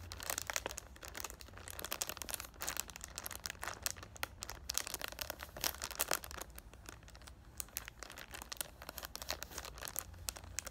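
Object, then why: Cardboard box in plastic cellophane wrap. Short dark-painted fingernails and fingertips rub and crinkle the clear plastic cellophane wrap across the front of a palm-sized rectangular cardboard Thank U Next 100 ml perfume box held in both hands. Dense, bright, crackling crinkles with sharp, quick-snapping peaks run throughout, over a faint steady low hum.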